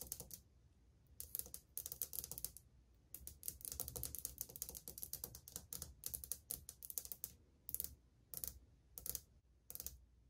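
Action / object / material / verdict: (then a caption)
tap / glazed ceramic wall tile / ceramic / none. Long painted fingernails of a spread hand tap on old, flat, solid glazed ceramic subway tiles on a wall. The sound is quick, bright clicking that comes in clustered bursts and short rolls with brief pauses between them. Each click is sharp, dies away almost at once, and sits over a faint low hum.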